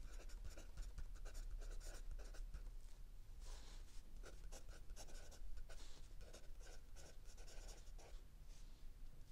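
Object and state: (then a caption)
Pencil writing on notebook paper. A mechanical pencil writes densely on lined paper in a spiral notebook, its tip scratching steadily across the page. Short bright strokes come in a quick continuous run over a low, quiet rumble.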